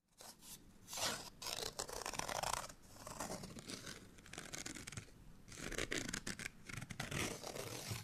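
A small, thin, flat printed cardstock bottle tag for Giarola Grappa Oro is held in the hand and scratched with medium-length natural nails. The result is a dry, papery scraping sound in bright, broadband bursts that rise and fall over about eight seconds. A faint low rumble runs underneath.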